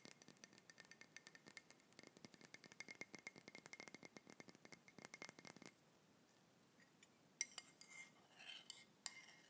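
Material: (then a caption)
Ceramic. A hollow, seemingly empty grey ceramic mug with a handle is held in the hands and tapped and clinked with fingertips and nails. Rapid, bright clicking taps run for about six seconds. A short quiet stretch follows, then a few sharper clinks and some softer brushing sounds near the end.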